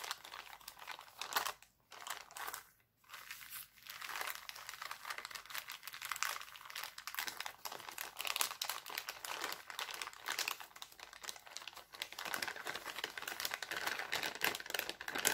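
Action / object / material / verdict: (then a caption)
scrape / thin cellophane plastic bag / cellophane / none. A thin, empty, clear cellophane bag printed with hearts is spread flat by hands, then crumpled and crinkled. Dense, bright crackling fills the clip with almost no low end, broken by brief quiet gaps near the start.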